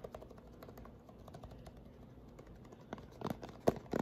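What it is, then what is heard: Plastic lotion pump bottle. Fingernails tap rapidly along the body of a white plastic lotion pump bottle held sideways. The quick, dry, clicky taps stay soft and even at first, then grow louder and sharper near the end, each dying away almost at once.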